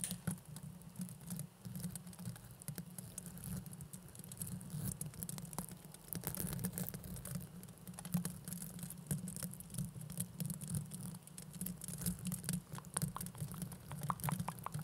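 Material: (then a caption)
Plastic. A pair of small hollow blue plastic mesh velcro hair rollers with a bristly surface, held one in each hand beside the microphone, is scratched and rubbed with fingertips and nails. This produces a steady, dense patter of dry crackling scratches and soft taps with bright, crisp edges over a low, constant hum.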